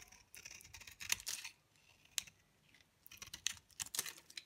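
A utility knife blade shaves flakes off a thinning, dry pale green bar of soap held in the palm. The result is a series of quick, crisp scraping strokes, bright and high with almost no low end, each dying away at once. They come in irregular bursts separated by short pauses.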